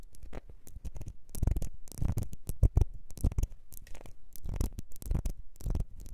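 Long nails scratch the ribbed surface of a small, clear glass perfume bottle with a gold nozzle, partly filled. The result is a quick, uneven run of dry rasping and scratching strokes, heavy in low rumble, with short bright edges and no ringing between them.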